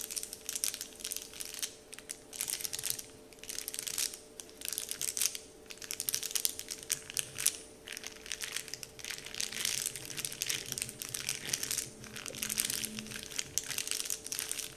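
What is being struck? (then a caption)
Printed paper candy wrapper sheet. Fingertips crinkle and press a large, flat, heart-shaped Dove-printed paper candy wrapper sheet, making dense, bright, crackly rustling in bursts separated by brief pauses. A faint steady tone hums underneath throughout.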